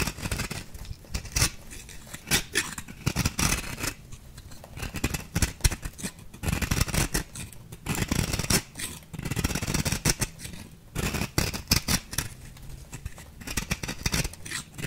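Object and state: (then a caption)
Bath bomb being shaved with a blade. A small metal blade shaves a shrinking, faceted ball of compressed bath bomb powder. Each stroke gives a short, dry, crumbly scrape that runs from a low thud to a bright hiss, in quick bursts separated by quieter pauses. The strokes come irregularly throughout, some heavier and louder than others.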